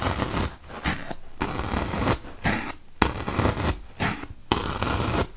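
A wooden toothpick is poked repeatedly into a large, solid, white melamine foam magic eraser block. Each push makes a dry, crunchy, scratchy burst that runs from a low rumble up to bright hiss, separated by short quiet gaps at an uneven pace.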